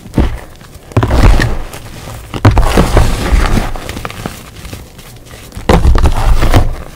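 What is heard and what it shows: Bare fingertips and palms press, squeeze and rub through a large heap of loose, pale green crushed gym chalk powder on a dark tray. The result is soft, muffled, low crunching and thudding in uneven bursts, with faint crackles between them.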